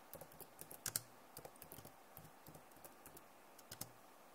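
Long nails type fast on a backlit plastic laptop keyboard, producing quick, quiet, bright clicks and taps that stop almost instantly. About fourteen distinct hits stand out, with the loudest cluster near the one-second mark.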